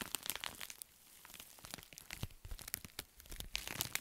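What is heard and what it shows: A wrinkled pink metallic foil bubble mailer is held flat while fingertips and nails scratch and press across its surface. A dense run of bright, crisp crinkles and crunches with quick sharp transients comes through, mostly in the high range with a little low thump.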